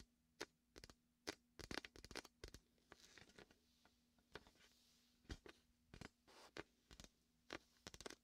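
Fingertips squeeze and peel the vinyl of a large red and white hollow inflated beach ball cradled against the microphone, producing quick, sticky crackling snaps and soft tearing peels with bright highs. The bursts come in irregular clusters, each cut off almost instantly, over a quiet, steady low hum.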